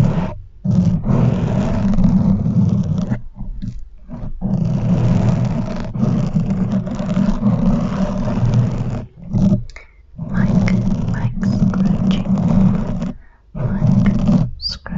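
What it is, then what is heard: Foam microphone windscreen being scratched. Long nails of both hands scratch a soft, porous black foam windscreen covering a silver metal desk microphone. The result is a loud, muffled, low-heavy rumbling scrape that comes in sustained bursts, broken by brief pauses.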